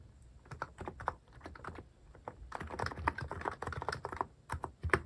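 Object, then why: Mechanical keyboard with plastic keycaps. Fingertips type on a cream mechanical keyboard fitted with sculpted plastic cat and paw keycaps. The keystrokes come as quick, short clacks with a low thump and a bright click, starting sparse and speeding into a dense run.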